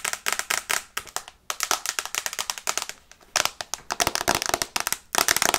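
Long fingernails tap rapidly on the glass screen of an iPad in a teal plastic case held in the hands. The result is a fast, irregular run of sharp, bright clicks with almost no low end and no ring, broken by brief pauses near 1.5 and 3.2 seconds.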